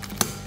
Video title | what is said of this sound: Anatomy of Mikuni Carb : Pro Tip | you can hear me tapping on that that's not really my finger that's the slide making that noise